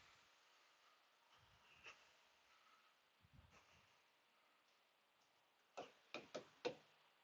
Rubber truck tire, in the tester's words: that nice thump of something that's full